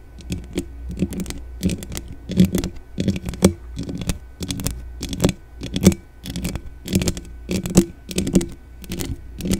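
Long dark-painted nails from both hands scratch rapidly across the bare hollow metal mesh grille of a black desktop condenser microphone. The result is a crisp, scratchy clicking in quick bursts with a low body around 190 Hz, and the sharp vertical streaks reach up into the high range.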